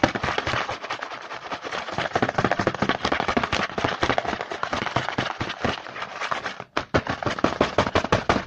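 A small printed cardboard Hanuta snack box is held in the hand while fingertips tap and scratch quickly across its front. The result is a dense, dry, fast-paced run of crisp clicks and rustling scrapes. The run breaks off briefly just before the 7-second mark, then resumes.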